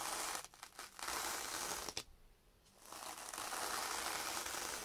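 A yellow foam kitchen sponge with a green scouring pad is held by hand and scrubbed back and forth on a sheet of sandpaper. It makes a dense, bright, gritty scratching with short dips early on and a sharp scrape just before a brief near-silent pause. The rasping then resumes steadily until the end.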